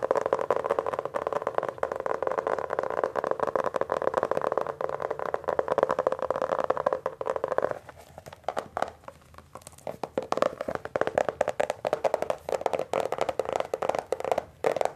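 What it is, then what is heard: Hardcover book with glossy laminated cover. Fingertips tap and grip the glossy laminated paperboard cover of a solid, hand-sized Hardy Boys hardcover book, "The Secret Warning," with paper pages. A dense stream of quick, dry, midrange taps runs steadily for about eight seconds. The book is then turned to its spine edge, and the tapping becomes quieter and sparser before picking up again.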